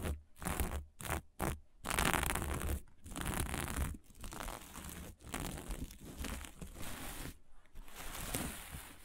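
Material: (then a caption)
Plastic sequins. Long nails scratch across a flat fabric covered in plastic sequins, and a flat hand rubs it. A few short, separate bursts of crinkly scratching open the clip, then give way to steady, fast rustling and scraping with a low, rumbling body and bright, papery edges.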